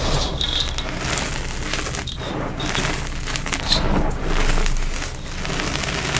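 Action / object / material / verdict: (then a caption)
scrape / bowl of powdered chalk and coloured powder / chalk powder / none. Fingertips with short orange-painted nails press, squeeze and crush soft clumps in a large mound of fine blue powder (colored holi powder, likely mixed with crushed gym chalk) filling a bowl. The result is a steady, close-up stream of soft crunching and crackly crumbling with bright, gritty texture as the clumps break into loose powder.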